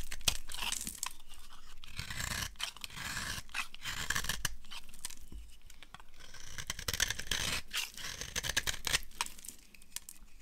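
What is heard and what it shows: A solid, dry amber bar of soap held in a hand with long nails has its edge cut and scraped with a utility knife blade. Crisp, crunchy scraping and tearing sounds come in quick, irregular strokes, with bright grainy texture and sharp little clicks as flakes break away.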